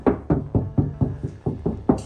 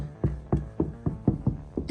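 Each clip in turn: First: Nine quick knuckle knocks on a bare steel door panel, each with a thin, tinny buzz behind it. Second: About seven low, dull taps that stop almost at once; a steel door panel deadened by soundproofing.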